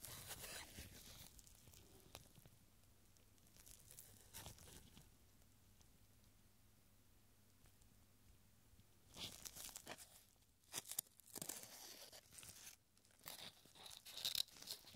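A thin, yellowed paper strip with a hangman drawing is held taut between gloved fingertips, then rolled into a small tube. Soft, bright crinkling and rustling open the clip, fade into a quiet stretch, then return as louder, sharper crackles and crumples toward the end.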